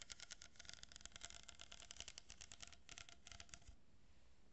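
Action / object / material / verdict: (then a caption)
tap / cardboard tube / cardboard / none. Long fingernails with painted tips tap and scratch a long, hollow, empty brown cardboard tube that has a strip of plastic pearl beads glued along one edge, held close to the mic. They make a dense run of quick, bright clicking taps and scratchy rustles over a low rumble. The taps stop near the end, leaving only a faint hiss.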